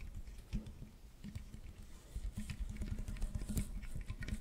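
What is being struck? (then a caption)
Corrugated plastic tube. Fingertips scratch the ribs of a hollow, corrugated pink plastic tube that is held upright and then bent into an arch. The result is a quiet, irregular patter of dry, muffled scrapes and taps, mostly low and thuddy, with faint brighter ticks and no ring after each stroke.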